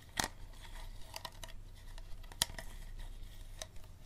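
Fingernails tap and scratch on an empty, hollow clear plastic water bottle, working over its ribbed bottom and green cap end. Sharp, bright clicks stand out from a continuous soft scratching, with brief crinkly high textures and a low hum underneath.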